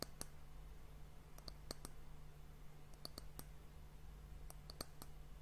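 Long nails tap the surface of a round, solid, varnished brown wooden end cap on a glass hourglass. The result is a quiet series of short, dry clicks with bright high ticks and almost no ring, over a steady low hum.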